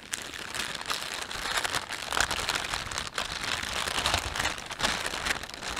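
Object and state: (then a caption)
Plastic shopping bag being crumpled. Fingertips rub and crumple a thin, empty, hollow green-and-white plastic carrier bag printed with a panda as it lies on a cloth surface. A steady, dense crinkling and crackling fills the clip, bright and papery with little low end. It rises and falls in bursts without pause.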